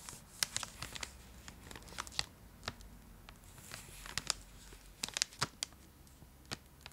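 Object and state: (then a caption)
Foil-lined plastic chocolate wrapper, crinkled. Long acrylic nails scratch and tap a full, large purple Cadbury Dairy Milk block held in both hands, its foil-lined plastic wrapper crinkling. Bright, crisp crackles and sharp nail clicks come in a quick, irregular scatter over a faint low hiss, each one dying away almost instantly.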